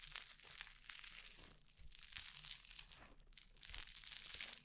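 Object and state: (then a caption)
Crunchy foam-bead slime (floam) being squeezed. A soft handful of orange crunchy foam-bead slime (floam), held close to the microphone, is stretched, squeezed and kneaded between fingertips with long painted nails. It gives off a continuous, quiet stream of bright, dense crackles and crunchy pops. The crackling swells slightly louder toward the end.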